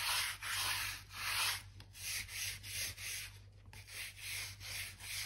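A blue-handled crevice brush scratches along the gaps between light oak floorboards, brushing out dirt and dust. Repeated bristly, hissing strokes rise and fall in a loose rhythm, bright and airy, over a faint steady low hum.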